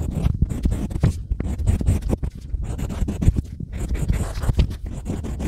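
A pointed stylus scratches carved letters into a small, flat, solid slab of green-painted unfired pottery clay while fingers hold the tile. A steady run of short, dry scratching strokes follows one another, mostly low and dull with brief brighter flicks. Each stroke cuts off at once with no ring.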